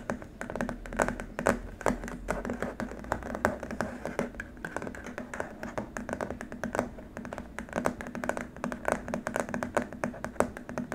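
Fingertips and short nails tap and scratch on a long, flat, white rigid plastic keyboard wrist rest. The result is a steady stream of quick, light plastic clicks and taps mixed with soft scratching, with a faint low hum underneath throughout.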